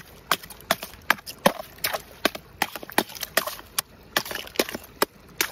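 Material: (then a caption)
Ice. The metal head of a wooden-handled claw hammer strikes a thin, frosted, solid and brittle ice sheet over rocks at a stream edge again and again, cracking and breaking it. Each hit is a sharp, bright, brittle crack with almost no low end and a very short ring, coming at an uneven pace of roughly two to three per second. Faint crackling and splintering fill the gaps between the strikes.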